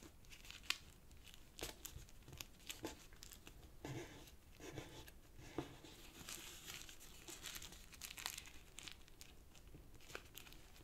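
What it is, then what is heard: Origami paper sheet. Fingertips and nails press and rub the creases of a small, tightly folded purple origami paper sheet resting on a black cloth table. Dense, bright crinkling and crackling rustles run throughout, with sharp, quickly fading snaps that rise above a quiet papery hiss.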